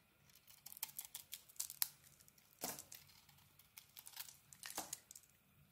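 A small metal blade carves a solid grey and orange bar of soap, peeling off thick curls. It makes a quick series of quiet, crisp, bright scraping and crackling cuts, with a few longer shaving strokes among short, dry ticks.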